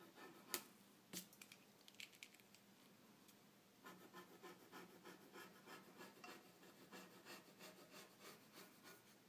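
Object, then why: Graphite pencil on paper sheet. A graphite pencil draws a boat outline on a stack of white drawing paper resting on a dark table. A few sharp, bright ticks of the tip come first. From about four seconds on, a steady, rhythmic scratching and rubbing of the pencil across the paper takes over, quiet but crisp.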